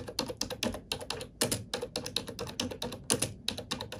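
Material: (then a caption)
Plastic. Fingertips type steadily on a black plastic computer keyboard, producing a quick stream of crisp, bright key clicks with a soft plastic knock underneath. Each click is short and dry, with brief pauses between bursts, and the run ends in a crossfade between two takes of the same keyboard.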